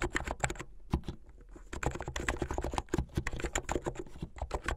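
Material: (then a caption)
Plastic. Fingertips with medium-length painted nails type fast on a plastic mechanical keyboard with white and blue plastic keycaps. A rapid stream of short, sharp clacks with a deep, low-heavy thock and bright click tops is heard, with a brief lull about a second in. Each keystroke dies away almost instantly.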